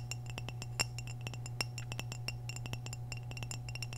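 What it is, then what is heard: Ceramic vase. Long nails tap quickly across the surface of an orange glazed hollow ceramic vase held tilted, making a rapid, irregular run of bright, high clinks. Each clink rings briefly over a steady low hum, with a few taps louder than the rest.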